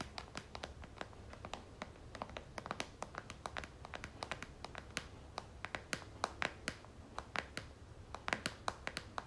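Long nails tap quickly on the back of a pink and gold plastic squeeze tube of lotion held in a hand. Dozens of sharp, bright clicks come in an uneven, rapid patter over a faint crinkly background. Each click dies away almost instantly.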